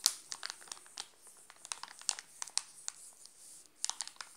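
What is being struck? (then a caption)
Plastic chocolate bar wrapper. Fingers grip and crinkle the glossy plastic wrapper of a sealed Alpino chocolate bar, partly covered by the hand. The result is a quiet run of sharp, bright crackles and crinkles with almost no low end, each snap dying away almost instantly.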